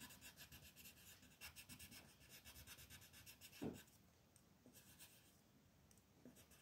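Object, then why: Wooden colored pencil on a paper sheet. A peach-colored wooden pencil held in the hand is rubbed back and forth over a thin white paper sheet printed with a mandala, lying flat on a table, to shade small areas. The result is a continuous, scratchy rubbing with a bright, hissy edge and fast strokes. It has one louder scrape around the middle and then grows softer and sparser.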